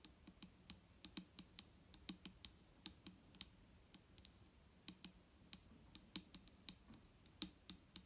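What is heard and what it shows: Long painted nails tap along the side of a large, clear plastic micellar water bottle that is nearly full of liquid and lying on a wooden table. About thirty short, quiet taps come in an uneven rhythm, each a crisp, bright click over a soft hollow low thump that dies away almost instantly.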